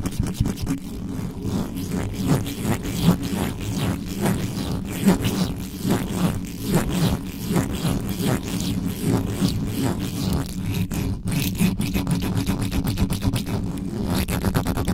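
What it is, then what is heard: Metal mesh microphone grille being scratched. Fingers and nails quickly scratch the top of the uncovered metal mesh grille on a black condenser microphone. The result is a dense, continuous rasping scrape of rapid, irregular strokes, heavy in low rumbling tones with only a little high hiss.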